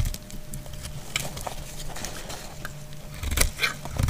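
A solid translucent green glycerin soap bar held in hand is scraped and cut with a utility knife blade. Soft, irregular crackly scraping and brief bright clicks are heard over a low rumble, with a sharper, louder cut near the end.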